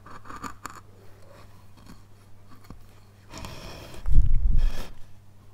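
A flat steel chisel scrapes and cuts along the carved mountain slopes of a solid, light basswood relief carving panel. Light, dry scraping ticks come first over a steady low hum, then a denser run of crunchy cuts builds into a louder, rough burst before fading.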